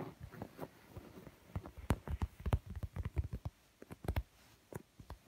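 Fingertips and medium-length nails tap and scratch the textured surface of a large, soft, stuffed black leather sofa seat cushion. The result is a quiet, irregular run of short, dull, low thuds with faint scratchy brushing between them. The taps die away almost instantly.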